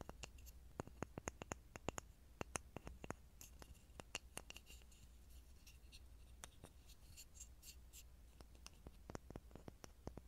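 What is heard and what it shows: A small, solid, light pine block with visible grain is held over a mini microphone and tapped and scratched with fingertips and short nails. The result is a quiet, irregular run of sharp, dry, bright clicks with almost no ring, interspersed with soft scratching over a steady low hum.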